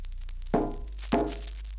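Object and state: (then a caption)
Solid-sounding car roof. The steel roof of a 1957 Ford, lined with half-inch sound-deadener insulation and fitted with three roof braces, is struck twice. Each strike gives a dull, low thunk around 400 Hz that fades within about a fifth of a second, with no metallic ring. The roof sounds solid, a result credited to the insulation and the braces.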